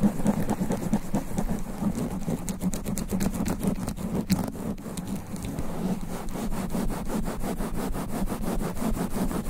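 Both hands scratch quickly with long black nails across the sponge foam windscreen on the head of a studio microphone. The result is a steady, dense rush of fast scratching strokes, heavy in low rumble with a soft hiss and no pauses.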